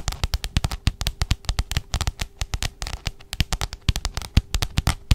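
A pink spiral notebook with a glossy plastic cover is held upright and tapped rapidly by the long nails of both hands. The result is a dense, uneven stream of quick, dry taps, each with a low thump and a sharp bright click that dies away almost instantly. A faint steady hum runs underneath.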